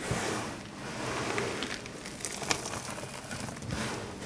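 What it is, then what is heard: Dry soap crumbles. Two hands scoop and squeeze handfuls from a loose pile of small, dry bar-soap shavings and chunks in green, yellow, white and blue on a marble-look surface, crushing and crumbling them with fingertips and palms. A steady, dry crinkling crackle fills the clip, with bright, sharp crunches popping out irregularly above a soft rustle.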